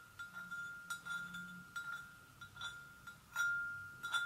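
Long nails gently tap the sides of a hollow, empty white porcelain gravy boat in an irregular series of light clicks. Each tap brings out a clear, steady ringing tone around 1.4 kHz with bright overtones that fades quickly after each hit.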